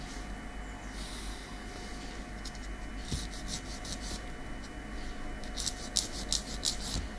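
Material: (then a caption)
Keratin. A long, natural keratin fingernail tip, small and solid, is filed with a light grey nail file in a repeated rasping scratch. Bright, high, airy strokes come in bursts over a steady low hum, growing denser and sharper toward the end.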